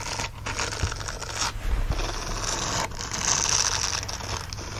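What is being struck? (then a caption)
Silicone bristle dish glove. A green silicone bristle glove lies flat while the fingertips and nails of both hands quickly scratch its bristled fingers. The result is a dense, continuous scratchy rustle, bright and hissy up high, with a soft low rumble underneath and brief surges in loudness as the scratching shifts.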